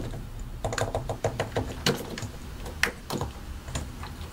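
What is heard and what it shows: Both hands type continuously with their fingertips on a solid white and grey plastic mechanical keyboard, pressing and tapping keycaps over switches. An irregular stream of short, dry clacks is heard, each with a low thock body and a brief bright click that dies away almost at once, with a couple of sharper, louder taps.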